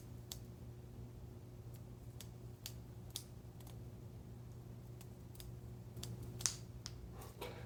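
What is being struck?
Metal ceremonial knife.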